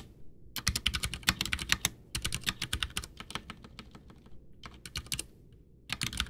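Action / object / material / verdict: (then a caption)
tap / plastic mechanical keyboard / plastic / none. A full-size white plastic Ducky One 2 mechanical keyboard with Cherry MX Brown switches, backlit with a hollow case, sits on a desk while both hands type with their fingertips, pressing and tapping the keys. It produces rapid, bright, crisp clacks with a dull low thock beneath, arriving in quick bursts separated by brief pauses.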